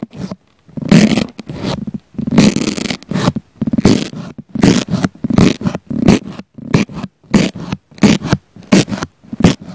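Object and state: Foam sponge poked and scratched.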